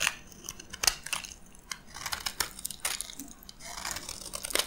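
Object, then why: Soap bar cut with a blade. A metal blade cuts into an orange and white striped solid bar of dry soap held in the palm, and chunks crack off. Bright, dry crunching and crackling snaps come in quick bursts with almost no low end and no ring after each break.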